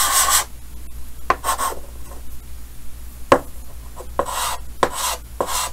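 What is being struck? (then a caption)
Chalk on a painted chalkboard. Yellow chalk held in the fingers hatches and scratches across a large, solid, flat painted chalkboard with a green frame. Dry, bright rasping strokes alternate with sharp taps of the chalk against the board, over a low steady hum.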